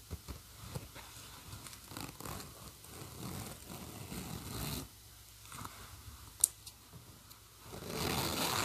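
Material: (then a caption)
Metal, fabric. Fingers pull the slider of a silver metal zipper along its teeth to open and close a black and pink PINK-brand fabric bag. Quick, uneven ratcheting rasps run for the first five seconds, then quieter scratchy passes with one sharp bright click. A steady, brighter hiss of zipping finishes the clip.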